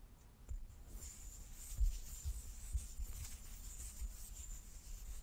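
A large solid light-wood die with dark pips is held in both hands and turned in the palms while fingertips and nails rub and slide over its faces. The result is quiet, low rubbing and handling sounds with soft dull thumps and a faint high hiss.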